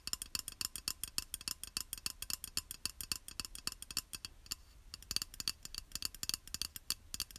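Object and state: Glazed ceramic tile.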